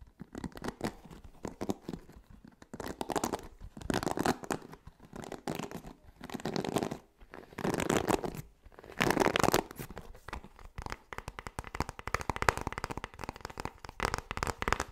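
A hand-sized blue plastic paddle hairbrush with a black bristle pad is held close to the microphone while fingertips rake and scratch across the bristles, occasionally turning the brush. The result is quiet bursts of dense, dry, crackling scratches that swell and fade over a broad range, with brief pauses between passes and a busier, more continuous patter toward the end.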